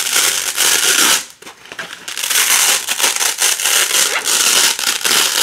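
A wide black nylon hook-and-loop (velcro) strip is slowly pulled apart by fingertips with long pink nails, the loop side peeling from the hook side. It gives a dense, bright crackling rip that runs in long stretches, dips briefly to near silence around one second in, then resumes.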